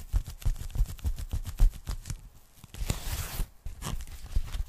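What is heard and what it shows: Long nails tap rapidly on a thin, flat, empty pink polyethylene foam packing bag held close, giving a quick run of soft, dull, low thuds. A brief bright, hissy scratch across the foam follows, then a few more light taps.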